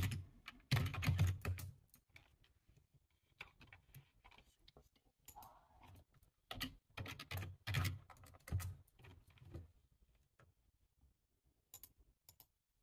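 One hand types with its fingertips on a black, low-profile plastic computer keyboard with a hollow body, resting on a table. Irregular bursts of key taps come in quick clusters separated by brief pauses. Each tap has a hollow, low thud and a bright click that dies away almost at once, and a few faint, sparse taps close the clip.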